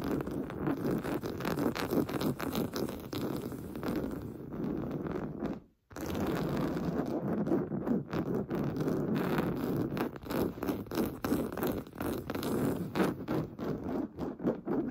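Fingernails scratch fast across a large, stuffed, cream-colored pillow made of fine-weave fabric, producing a dense, rough, rustling scrape. The sound stays mostly in the low-mid range, with little high-end bite. It drops to silence for a brief moment just before six seconds, then resumes as more choppy, separate strokes.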